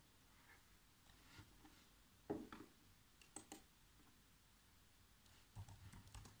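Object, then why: Plastic laptop keyboard keys. Bare fingertips with short nails tap rapidly on the black, low-profile plastic keys of a laptop keyboard set in a hollow chassis. Quiet, dull clicks come in short irregular bursts, with a few louder clatters, over a faint steady background hiss.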